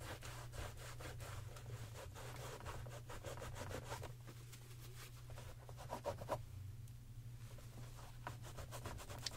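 A grey microfiber cloth held in the fingers rubs and wipes the upper and sides of a hollow, empty white leather Gucci sneaker with a green and red stripe, resting on a shoe stand. Quiet, rhythmic brushing strokes continue throughout over a steady low hum, with a few slightly sharper scuffs near the end.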